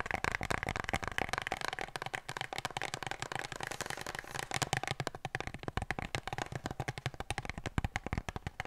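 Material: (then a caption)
Cardboard. An empty, hollow brown cardboard kitchen-roll tube, held in the hands and tilted sideways, is tapped rapidly and scratched by long nails. A continuous run of dry, quick taps with a low, hollow body and bright papery clicks is heard, mixed with soft scratching. Each tap dies away almost instantly.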